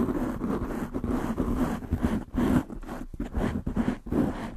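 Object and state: Foam microphone windscreen being scratched.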